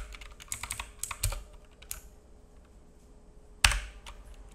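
Fingertips of both hands tap keys on a black full-size mechanical keyboard with plastic keycaps and a hollow case, resting on a wooden desk. A quick run of bright, clicky keystrokes with a hollow low thud is followed by a quieter pause, then one louder, sharper key strike and a few softer taps.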